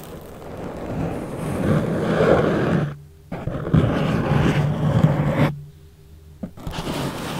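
Fingertips press, rub and lightly scratch the top of a thick, soft yellow foam sheet wrapped hollow over a microphone. The result is a low, muffled, rumbling rustle that swells and fades, broken by two brief near-silent pauses.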